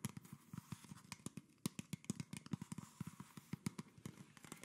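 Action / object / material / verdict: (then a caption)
tap / PET plastic bottle / plastic / none. A small, empty, hollow PET plastic Coca-Cola bottle with a red label and red cap is held in one hand while the fingertips and nails of the other hand tap and scratch along its ribbed plastic. About 25 quick, dry, hollow taps sound in an uneven rhythm, each with a low body near 180 Hz and a bright clicky edge. Soft scratchy rustling fills the gaps, and each tap dies away almost instantly.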